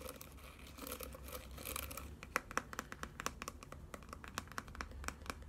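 A mint-green plastic hairbrush with a dense bed of white plastic bristles is held in one hand while the fingertips and nails of the other hand scratch and strum across the bristles. For the first two seconds there is a soft, continuous scratchy rustle; then a run of quick, bright, crisp plucking ticks as the bristles snap back. The clip stays quiet throughout, with a faint low hum underneath.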